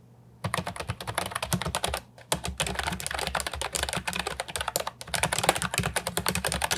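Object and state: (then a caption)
Plastic keyboard with round keycaps being typed on. Rapid fingertip and short-nail typing on an Ajazz 308I, a brown and white compact wireless keyboard with hard plastic round typewriter-style keycaps, resting on a wooden desk. Dense runs of short, bright plastic clacks with almost no ring. The bursts break in brief pauses near two and five seconds.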